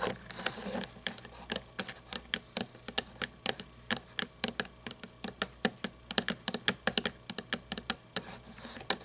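Long nails tap and scratch on a small toy monster truck with a chrome plastic engine and grille and plastic tires. About forty quick, sharp, bright clicks come in an uneven run, each dying almost instantly, over a faint soft scratching.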